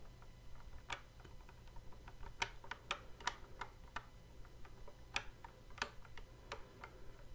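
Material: Plastic.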